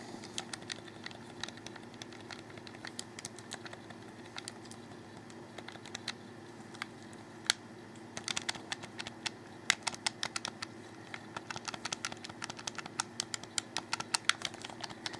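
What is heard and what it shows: A black, hollow plastic Xbox 360 controller is held in both hands while fingertips click its buttons. Many short, bright, dry clicks come in irregular bursts, sparse at first and busier in the second half, over a faint steady low hum.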